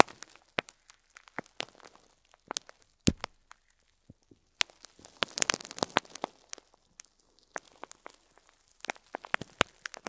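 A fingertip presses and crinkles the top of a clear plastic bag of loose cream plastic faux pearl beads standing upright on cloth. Sparse, sharp, bright crackles and ticks come in scattered bursts, with a denser cluster of rustling clicks near the middle. Each snap dies away almost instantly, and there is little low-end weight.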